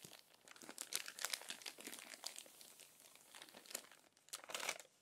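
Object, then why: Glossy magazine paper. Long-nailed fingers press and smooth the wrinkled pages of an open, crumpled glossy paper magazine, then turn a page. Dense, bright crinkling and crackling rustles come in bursts with short pauses, without any low rumble.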